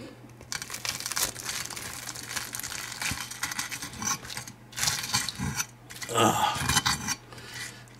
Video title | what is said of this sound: Bacon Mac N Cheese Balls | you guys just hear how crispy that is